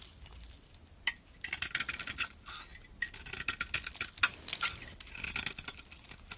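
A hand-held solid pink Fa bar soap with a white core is scraped and carved with a metal utility-knife blade, shaving off curls and flakes. The clip is full of dry, bright, crackly scraping strokes with almost no low end. They come in uneven bursts, separated by brief quieter gaps, and a few sharper clicks stand out.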